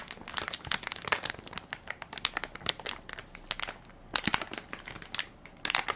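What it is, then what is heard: Crinkly plastic baby wipes soft pack. A hand-sized Equate baby wipes soft pack of crinkly plastic film, full of wipes and held in one palm, is pressed and crinkled by fingertips and nails. The result is a steady stream of sharp, bright crackles and crinkles with almost no low end, each burst dying away instantly, with louder clusters near the middle and end.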